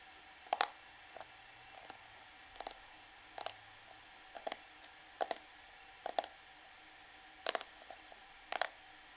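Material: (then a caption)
Plastic. A small, flat, black plastic Revlon PhotoReady powder compact with a hollow case is held in the hands and tapped and scratched with long manicured nails on its surface and edges. Quiet, sharp clicks and brief scratchy ticks come in short clusters spread across the clip, bright and dry with almost no ring. A faint steady hiss sits underneath.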